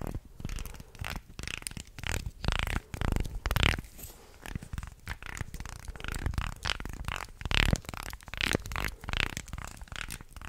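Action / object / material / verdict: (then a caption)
scrape / small carved wooden guiro scraped with a wooden stick / wood / none. A small carved light-wood guiro shaped like a shark, with ridged grooves, is moved around close in front of the mic while a thin wooden stick scrapes along its grooves. The result is a series of short, dry, ratcheting rasps that vary in loudness and carry a heavy, close low end along with brighter scratchy edges.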